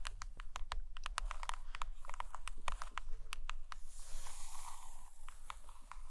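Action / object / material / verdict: tap / hardcover book with laminated cover / laminated cardboard / none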